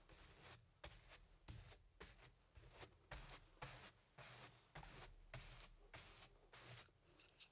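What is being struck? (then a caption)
Stretched cotton canvas on a wooden frame, brushed with paint. A flat paintbrush dabs and rubs black paint along the left edge of the painted area on a medium stretched cotton canvas, thin fabric over a hollow wooden frame, resting on an easel. Fourteen soft, brushy scrubbing strokes come at an uneven pace, each a bright bristly hiss over a dull, low, hollow thump from the canvas.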